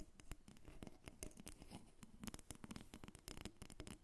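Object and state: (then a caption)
Carved wooden figurine. Long nails tap and scratch a solid carved wooden dolphin figurine, about 25 cm long, resting on a glass table. Quick, dry clicking taps mix with soft scraping in a steady, busy pattern with almost no ring.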